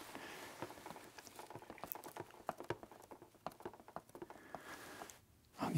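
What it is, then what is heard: Plastic game console casing tapped. Fingertips tap and pat the casing of a black, hollow, medium-sized plastic video game console held in the hand. The result is a quick, irregular run of soft, dull, hollow clicks and pats with almost no ring, over a faint background hiss. A brief near-silence follows, then the clip ends on a louder rustling burst.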